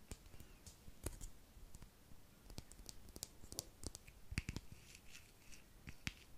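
A small, palm-sized hollow white plastic skincare cream jar with a screw lid is held in the hands close to the microphone and tapped and clicked with the fingernails. Quiet, sharp clicks and taps come in irregular clusters, with brief bright transients over soft low handling rustle.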